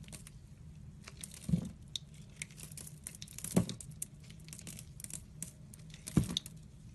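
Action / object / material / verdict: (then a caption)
scrape / bar of soap with a crunchy sprinkle coating / soap / none. A metal blade slices and scrapes through a solid oval soap bar held in the hand, its crust coated in pastel, colorful sprinkles over a purple and orange core. Soft, crisp crackling and gritty scraping run throughout, broken by three louder, low thudding cuts that end quickly.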